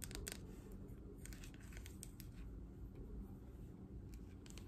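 A green plastic paddle hairbrush with a hollow back is tapped on the back and scratched across its bristles with long nails. Quiet, close tapping and scratchy clicks come in brief bright bursts over a low, steady rumble.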